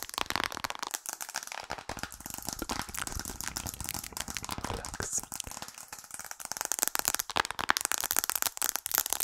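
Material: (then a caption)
Glass. Long acrylic nails tap fast on the glass and aluminium frame of a white-framed smartphone held in the hands close to the microphone. The result is a dense stream of sharp, bright clicks and rattling taps that die away almost instantly, with little low end. The taps grow louder and crisper toward the end.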